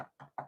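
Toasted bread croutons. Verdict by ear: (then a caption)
Crispy. Homemade bread croutons are tapped to show they are crispy, still soft inside but crunchy. Three short, dry, mid-pitched knocks sound in quick succession, each fading almost at once.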